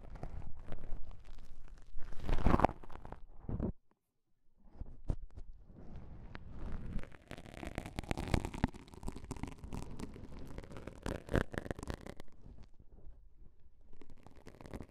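Two pieces of beige self-adhesive elastic bandage fabric, one held in each hand, are folded, squeezed and rubbed with the fingertips. This makes soft, dense crackling and rustling with a muffled, low-heavy texture. A brief near-silent pause comes early on before the crinkling resumes and continues to the end.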